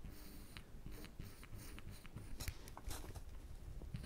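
A woodburning pen's wire tip is dragged and scratched along the lines of a pipe on a flat, thin plywood panel. The result is quiet, dry scraping with brief bright scratches over a steady low rumble.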